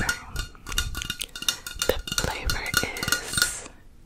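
Long nails tap rapidly on the side of a tall metal aerosol can of Crisco butter cooking spray, making about fifteen light, irregular clicks. Each tap gives a short, bright, hollow metallic tick that dies away almost at once. The taps stop near the end and leave a quiet tail.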